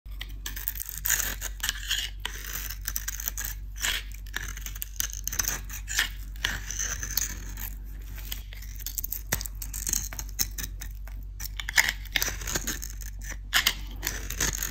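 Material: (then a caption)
Soap. A metal utility-knife blade shaves and cuts into a hand-sized, solid oval bar of dry, crumbly white soap coated in glossy blue metallic paint, scraping off paint and crumbly soap flakes. Dense, crisp scraping and crunching strokes with bright, papery edges repeat steadily throughout, over a constant low hum.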